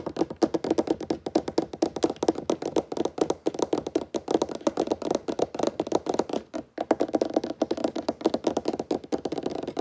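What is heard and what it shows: Fingertips tap rapidly and continuously on a wooden table top, producing dense, dry, short knocks centered in the low-mid range around 300 Hz with almost no ring. The tapping runs nonstop with a brief pause near the middle before continuing at the same quick pace.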